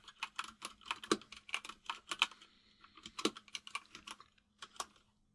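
Fingertips of both hands type on a full-size mechanical keyboard with white and grey plastic keycaps. About two dozen crisp, bright clicks land in quick, uneven bursts, with a short pause midway and a faint steady low hum underneath. Each keystroke dies away almost at once.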